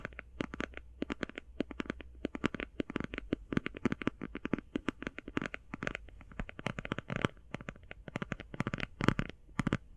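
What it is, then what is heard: Plastic eye shadow palette. Fast tapping on a plastic eye shadow palette makes a dense run of short, clicky, dry taps with very little ring. A low steady hum sits underneath throughout.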